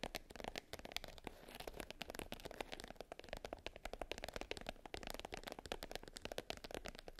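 Long nails tap and scratch across the surface of a small, closed black hard case covered in glitter and lying flat. Rapid, dry clicks blend with a gritty, crackling scrape, bright and textured, with each tap dying away almost instantly. The sound stays steady and quiet throughout.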